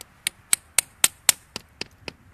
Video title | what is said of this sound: Tapping a Maple Tree | hear that difference there even yeah it sounds duller